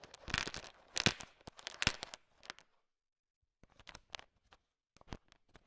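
A heap of small, hard, sugar-shelled peanut M&Ms filling a bowl is stirred and tapped with a thin wooden stick, mixing the candies. Bright, sharp clicks and rattling crackles come in dense bursts for about two and a half seconds. After a brief silence, sparser taps and rattles follow.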